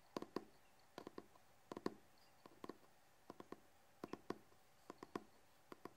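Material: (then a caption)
Cardboard. Short fingernails and fingertips tap and scratch the cover and edge of a large, solid hardcover book with a red cloth/cardboard cover and gold lettering. Quiet, dry clicks and soft knocks come in small quick clusters, with a warm low-mid body, a faint bright tick on each hit, and no ring between taps.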